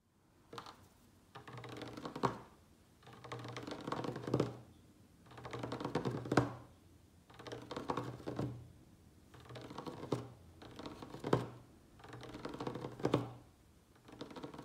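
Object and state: Wooden tabletop tapped with fingertips.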